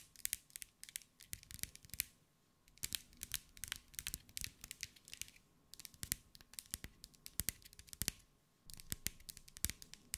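Long acrylic nails tap and scratch quickly over a hand-held glass mosaic ball, a sphere about 15 cm across covered in small green glass mosaic pieces. Bright, sharp clicks come in rapid bursts with a light scratchy texture between them, separated by brief quiet pauses, and each tap dies away almost instantly.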